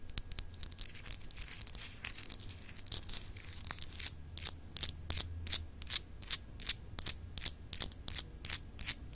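Long acrylic nails scratch across a small, solid, clear glass globe paperweight with etched continents, making quick, bright, dry scraping strokes at an uneven pace. The strokes start as a dense rasp and become sharper and more separated toward the end, with no ring after each one. A low, steady hum sits underneath.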